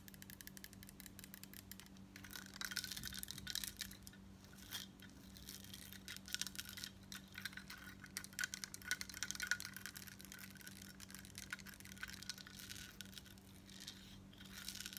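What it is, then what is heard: Metal bib necklace. Long nails tap and scratch a large crescent-shaped, embossed gold-tone metal bib necklace plate, which is lifted and tilted by hand and then worn flat. Quick, quiet, bright clicks and scrapes come in dense runs with a faint metallic ring near 1.5 kHz, over a steady low hum.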